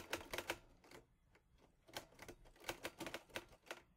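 Fingertips type on the keys of a teal metal portable Olivetti Lettera 22 typewriter, producing about twelve sharp, bright mechanical clacks in uneven bursts with short pauses. Each strike is crisp and dies away almost instantly, with little low end.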